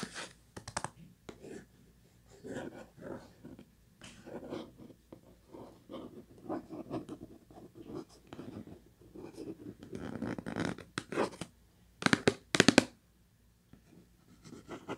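Long nails slowly scratch the printed surface of a hollow purple Kleenex cardboard tissue box, making soft, dry rasping strokes in irregular bursts. Near the end come a few sharper, brighter scrapes, then a brief silence before faint scratching resumes.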